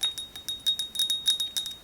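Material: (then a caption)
Ceramic. Fingernails tap repeatedly on a ceramic Hello Kitty mug, decorated with Hello Kitty wearing sakura flowers in her hair with her teddy bear. About a dozen quick, bright, chime-like clinks ring out, each with a short shimmering ring around a steady high tone near 3.7 kHz and no low end.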